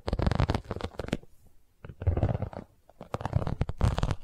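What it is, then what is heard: Vinyl cosmetic pouch. Long nails tap and scratch the sides of an iridescent, embossed holographic vinyl cosmetic pouch. Three bursts of quick, dull tapping and scratching come with short pauses between them. The sound is soft and mostly low, with little high-end brightness.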